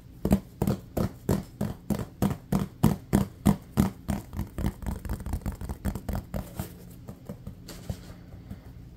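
A small hollow, textured silver and green rubber toy football is held and tapped and scratched with fingertips and nails. A fast, fairly steady run of short, dull, hollow taps with a low tone rings out, then fades into softer, quicker tapping and faint scratching toward the end.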